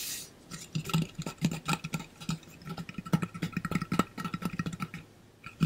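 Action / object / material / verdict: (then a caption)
tap / painted metal water bottle / metal / none. Fingernails tap rapidly on the painted body of a hollow pink-blue ombre metal water bottle held upright in front of the body. The quick, dense taps give a low, hollow ring around 195 Hz with faint higher overtones, and each tap dies away almost instantly.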